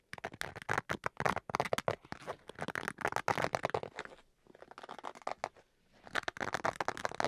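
Fingernails scratch and rub the fabric surface of a black zippered Switch carrying case with a fabric-covered hard shell, held upright close to the microphone. Quick, dry scratching strokes come in dense bursts with a broad, midrange-centered rasp and a bright edge, easing into quieter, sparser rubbing around the middle before turning brisk again near the end.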